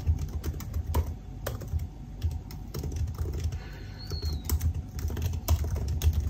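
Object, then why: Laptop keyboard with plastic keys on an aluminium body. Fingertips type on a silver aluminium laptop keyboard with black plastic keys, producing a steady run of quick, dry key taps with a soft, low thump under each press. The taps stop short with almost no ring, and a faint high chirp passes briefly near the middle.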